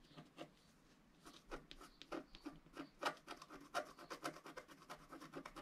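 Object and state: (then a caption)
Scratch-art card being scratched. A pointed wooden stylus scratches a flat coated scratch-art sheet resting on a cloth, working in short strokes. The result is a quiet series of dry, bright, rasping scrapes in an uneven rhythm, with soft pauses between some strokes.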